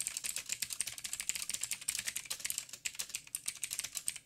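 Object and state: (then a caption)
Mechanical keyboard with plastic keycaps. Fast fingertip typing with both hands on a backlit mechanical keyboard with plastic keycaps and blue clicky switches. A rapid, steady stream of sharp, bright clicks carries almost no low end, and each keystroke cuts off dry and short.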